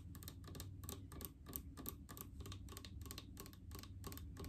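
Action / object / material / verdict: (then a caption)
tap / plastic mouthwash bottle / plastic / none. Long painted fingernails tap rapidly on a large blue plastic mouthwash bottle with faceted sides, a white cap, and full of liquid. The result is a quick, steady run of light, dry clicks with bright ticking edges and almost no ring, over a constant low hum.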